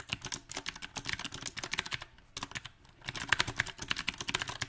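Both hands type with their fingertips on a compact backlit mechanical keyboard with round plastic typewriter-style keycaps. A quick, uneven run of short, bright clacking taps stops briefly in the middle, then resumes with some sharper, louder strikes near the end.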